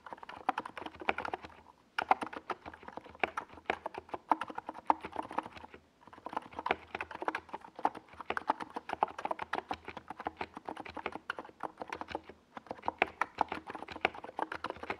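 A NiZ Plum Atom 68, a compact 68-key mechanical keyboard with a white plastic case and tall purple and yellow Domikey Gas Attack SA plastic keycaps, is typed on with the fingertips of both hands while resting on a desk pad. Rapid, dry clacky key taps with very short decay come in steady bursts, separated by brief pauses around 2, 6 and 12.5 seconds.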